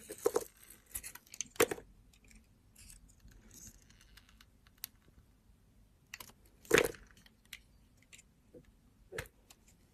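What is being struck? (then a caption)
Bar of soap with a glittery coating. A utility knife blade slices the glitter coating off a solid round blue soap bar held in the hand. Crisp, bright scraping and cutting strokes come in scattered bursts over a quiet background, with a few sharper, louder cuts standing out.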